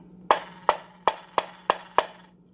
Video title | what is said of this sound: AR47 Custom Build | you can tell it's the bad mag just by the way you can hear the spring vibrate